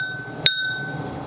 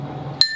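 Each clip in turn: First: One short, bright tap on a cup full of water, dying away almost at once over a steady faint background tone. Second: A single bright tap rings high and thin on a cup with some of its water poured out.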